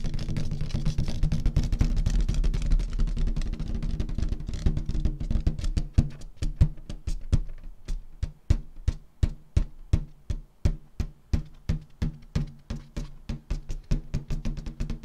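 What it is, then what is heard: Latex balloon tapped with nails. Long nails and fingertips tap an inflated, hollow, air-filled purple metallic latex balloon. The first six seconds are a dense, continuous patter of quick taps. After that, the taps come apart into distinct, fairly steady knocks, each a short, dull, low thump that fades quickly.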